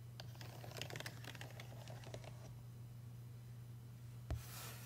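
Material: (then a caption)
Metal. A fingertip traces and taps over the buttons of a payphone's solid brushed metal keypad and the surrounding metal faceplate panel. Quick, light clicks and taps fill the first two and a half seconds over a steady low hum. A single sharper knock lands near the end, followed by a bright hiss.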